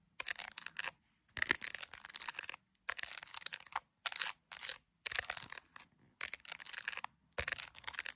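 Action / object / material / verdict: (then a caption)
tap / smartphone in a clear plastic case / plastic / none. An iPhone in a clear plastic case with colorful gummy bear charms, handheld, is tapped and scratched with long acrylic nails on the case and around the camera area. It comes in bursts of dense, bright, crunchy clicking and scratching with short silent gaps between them.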